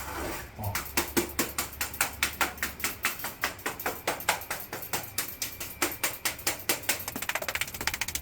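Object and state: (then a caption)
Hollow, delaminated wall plaster. Tapping along a cement plaster render over a brick wall gives a run of about 31 short, sharp, hollow-sounding knocks at a quick, uneven pace. The hollow sound shows the plaster is delaminating and not properly bonded to the brick, due to a missing scratch coat. It needs to be removed and redone, because tile or porcelain applied over it could fall off.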